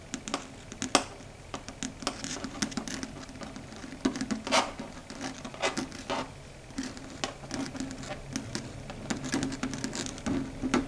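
Long red stiletto nails tap in a quick pattern on a flat, solid, dark grey chalkboard surface. Many short, dry, bright clicks come in uneven clusters over a faint, steady low hum, each tap dying away almost at once.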